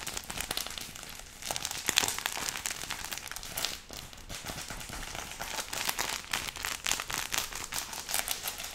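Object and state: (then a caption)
Crinkled paper banknote stack. A thick stack of paper banknotes bound with a yellow rubber band is held in both hands and squeezed and crinkled with the fingertips. The result is a continuous bright, dry crinkling and crackling made of many quick, sharp papery snaps with almost no low end.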